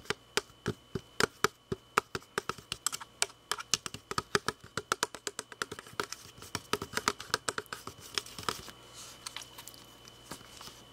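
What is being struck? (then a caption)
Plastic drinking bottle. Fingertips and nails tap and scratch the sides of a hand-sized, hollow, glossy red plastic drinking bottle with a grey cap. A rapid, uneven stream of short, dry, clicky taps sounds with almost no ring, growing denser and softer toward the end as the scratching adds a faint rustle.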